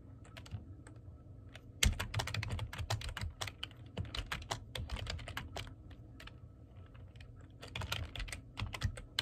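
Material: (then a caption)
Plastic. Fingertips type on the keys of a black plastic computer keyboard, producing a rapid, uneven patter of short, bright clicks with no ring. A low, steady rumble runs underneath throughout. The typing bursts louder just before the two-second mark, eases through the middle, and picks up again toward the end.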